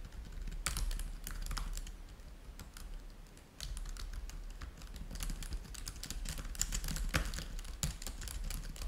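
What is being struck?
Plastic laptop keyboard.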